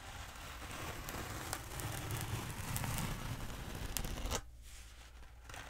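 Long nails scratch and tap the surface of a long black hollow foam pool noodle held upright close to the mic. A dense, crinkly scraping texture with a low rumble is punctuated by brief sharp taps, then drops abruptly to a quieter, softer scratch near the end.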